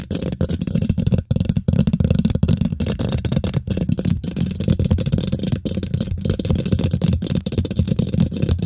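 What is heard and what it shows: Fingernails scratch and tap fast across a hollow steel mesh microphone grille. The result is a dense, continuous, rough rumbling scrape, heavy in the low end, with short dry taps and a few brief gaps.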